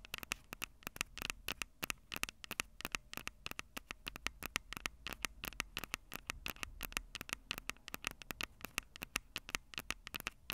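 Long purple acrylic nails tap and scratch the two small crossed metal mesh mic capsules on the hollow plastic body of a Tascam DR-05 handheld recorder. The result is a rapid, irregular stream of sharp, bright, dry clicks with almost no ring, centered around 2.2 kHz. Soft scratching fills the gaps between the taps.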